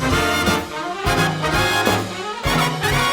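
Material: Nothing is struck.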